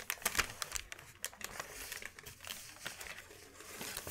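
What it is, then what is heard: Sheet of wrapping paper. A large, thin white sheet of wrapping paper is lifted, folded and handled with the hands. It gives a quiet, dense run of bright, dry crinkles and crackles with sharper snaps near the start, each dying away almost instantly.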